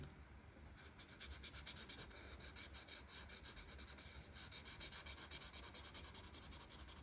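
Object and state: Marker rubbing on a paper colouring page.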